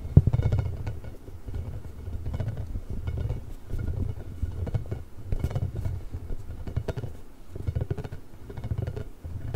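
A large pink hollow inflated rubber ball with nubs, held above or beside the microphone, is scratched with nails and rubbed with fingertips. The result is a low, rumbling scratching in repeated bursts, with soft crackles and occasional brief high ticks on top.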